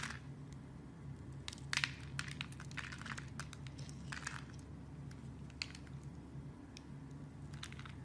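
A metal blade scrapes and carves the edge of a solid, hand-sized blue soap bar held in the fingers, chipping off thin slices. Bright, crisp scraping and crunching bursts come in irregular clusters over a steady low hum, with a few sharper cracks standing out.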